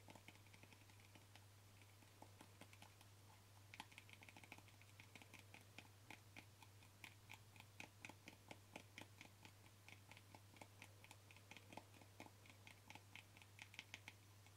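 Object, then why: Small plastic jar with screw lid. Short fingernails tap rapidly and repeatedly on the screw lid of a small white plastic jar with a yellow label, making many quick, dry, bright clicks that stop almost instantly. The taps run in quiet bursts over a steady low hum.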